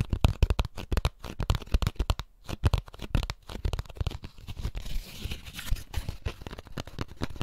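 An empty molded paper pulp egg carton is held in both hands while fingertips and nails tap and scratch its lid and label. The result is a rapid, uneven run of dull, low, papery taps mixed with soft scratching and crinkling, with a short pause near the middle.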